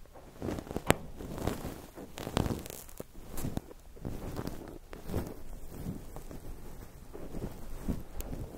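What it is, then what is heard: Cotton wool balls. Fingertips poke, press and pinch white cotton wool balls covering a microphone. The result is soft, muffled rustling and crunching, mostly low in tone, in uneven bursts with occasional sharper pops.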